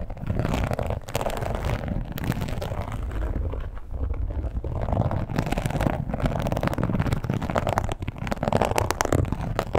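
Long pointed nails scratch across and tap a red croc-embossed leather wallet lying flat. The result is a dense, continuous, low, muffled scratching and crackling texture at a steady level, with little high-end brightness and quick, dull taps mixed in.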